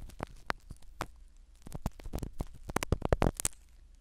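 A black spiral ear pick scratches the foam cover of a small black foam-covered microphone set in a silicone dummy ear. The result is a quick run of close, crackly scraping bursts over a soft low rumble, with brighter spikes toward the end.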